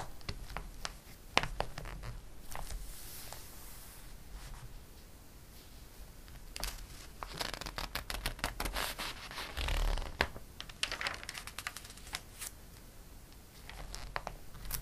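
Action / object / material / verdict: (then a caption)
scrape / glossy coated paper catalog / coated paper / none. An open glossy paper catalog has its coated pages rubbed and smoothed by a flat palm and fingertips. This makes quiet, bright, scratchy swishes and papery crinkles, broken by sharp little crackles and brushing strokes over a faint low rumble.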